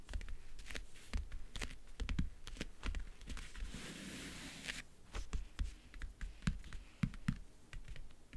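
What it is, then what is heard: Leatherette-covered backgammon case, hollow. Fingernails tap and scratch in fast bursts on the lid of a closed, hollow backgammon case covered in map-print faux leather. The dense, dull taps are mostly low and are joined by a steady, brighter scratching stretch in the middle.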